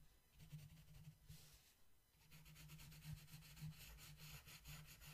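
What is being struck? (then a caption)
Wooden colored pencil on a paper page. A long yellow wooden colored pencil scratches and rubs across a flat paper coloring book page while coloring a mandala. The result is soft, repeated scratchy strokes with a bright hiss over a low, steady hum, pausing briefly before the rubbing resumes.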